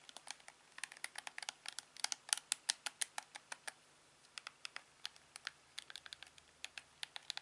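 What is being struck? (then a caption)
Plastic TV remote control. A thumb and fingertips repeatedly press the buttons of a hand-sized, hollow, black plastic LG TV remote control, making about 40 short, dry clicks and taps in irregular bursts with brief pauses. The clicks are quiet, bright and high-pitched, with almost no low end, and each one stops instantly.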